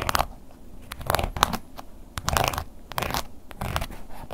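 A wooden ear pick scratches the textured face of a black woven-embossed leather long wallet, first lying flat and then held upright. Dry, crackly scraping bursts come in quick irregular strokes with short pauses, bright and raspy with a faint low rumble beneath.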